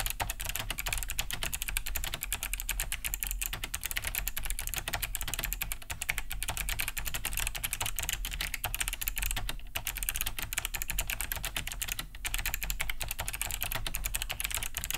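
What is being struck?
Plastic mechanical keyboard.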